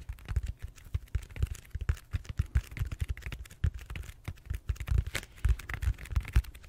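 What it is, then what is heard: Foam roller. Fingertips and short nails tap and scratch the textured surface of a large, solid purple styrofoam foam roller held upright. A rapid, uneven run of soft, dull, low thumps mixes with faint dry scratching clicks. Each tap dies away almost instantly.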